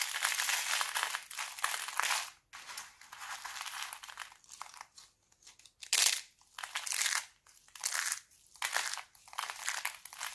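Thin, brittle green sheets of dried laundry soap are crushed in both fists into crunchy flakes, leaving a pile of broken soap flakes on the table. The sound is a series of dense, bright crunching and crinkling bursts with no low end, separated by brief quiet gaps.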